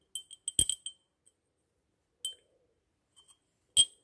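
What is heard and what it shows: Long natural nails tap and scratch the glazed surface of a small solid white porcelain angel figurine with a pleated robe, held in the hand. Quick bright clicks cluster at the start, then come as sparse single taps with pauses between, each carrying a thin glassy ring near 3.2 kHz. The clicks have almost no low end and die away almost at once.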